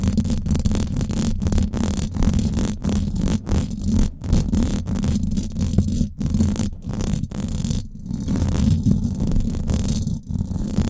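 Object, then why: Steel wire-mesh microphone grille. Long acrylic nails of both hands scratch the hollow domed steel wire-mesh grille of a Blue Yeti microphone. The result is a dense, continuous low rumbling scrape, with steady booming texture and brief dips where the nails lift. There is almost no bright content.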